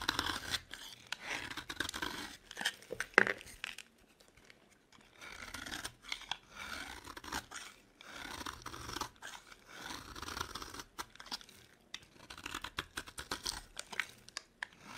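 A metal blade shaves the surface of a solid yellow bar of soap into crumbly flakes. Dry, bright scraping and crunching strokes come in repeated bursts separated by short quiet pauses, with one sharper crack near the start.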